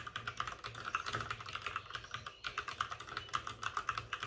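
Both hands type rapidly with their fingertips on the plastic keycaps of a white, RGB-backlit plastic mechanical computer keyboard that sits on a desk with a padded wrist rest. A fast, steady stream of short, crisp clicks is heard, each centered around 1.2 kHz with a bright top and almost no low end. Each click dies away quickly.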